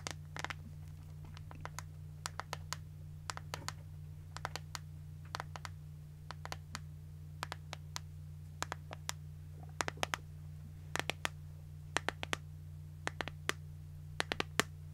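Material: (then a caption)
Plastic. Long nails tap and scratch an empty, thin, hollow transparent plastic iPhone case. Quick, dry, bright plastic clicks and brief scratches come in uneven bursts over a steady low hum, with each tick dying away almost at once.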